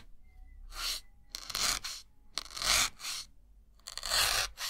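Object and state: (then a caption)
Melamine foam sponge being pierced. A white solid melamine foam sponge block is held in the fingers and stabbed repeatedly with a thin metal needle. Each stab makes a bright, crunchy, scratchy tearing sound, and a few separate bursts stand out with short quiet gaps between them.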